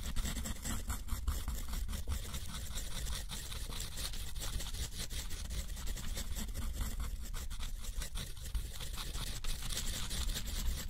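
A steel nib scratches dense looping scribbles across a sheet of thick, rough white watercolor paper held in the fingertips. The sound is a steady, continuous dry scratching with a bright, papery rasp over a low rumble.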